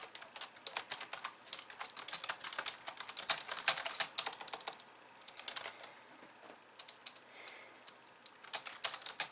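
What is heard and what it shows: Long polished nails type rapidly with both hands on a compact pink and white plastic computer keyboard. The sound is a dense run of sharp, bright clicks and taps with almost no low end, broken by a brief lull near the middle before the typing resumes.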